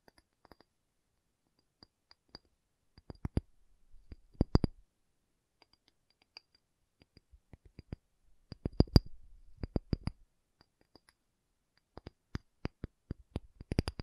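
A pumice stone is tapped, giving about 20 short, dry clicks that come singly and in quick clusters. Each tap is a brief low knock with almost no ring, and the denser bursts carry a faint gritty rasp.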